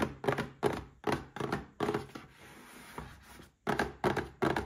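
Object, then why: Small cardboard box. A small red cardboard gift box with a glass inside is tapped with fingertips and short nails. The taps come as a series of dull, hollow thunks with short decays, broken by a softer, steady rustle in the middle before the tapping resumes.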